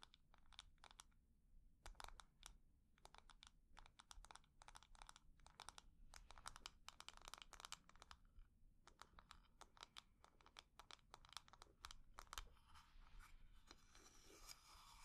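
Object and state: Lidded wooden jar.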